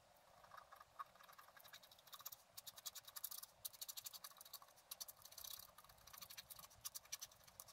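A wooden stylus scratches repeated streaks into the coating of a flat black-coated scratch art card to draw water jets. The result is a quiet run of short, dry, bright scratching strokes that come in quick bursts with almost no low end.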